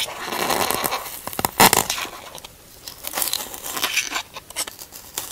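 Fingers scratch and pick at the top surface of a large, white, solid expanded polystyrene packaging insert. The result is bright, crackly foam scratching with sharp squeaky bursts, very little low end, and brief quieter gaps between flurries.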